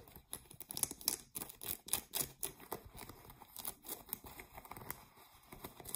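Fingernails scratch the waistband and fly area near the metal button of a pair of blue ripped denim jeans. The result is a quiet, fast, irregular series of dry, bright scratching strokes, with short broadband bursts and a faint crinkly rasp between them.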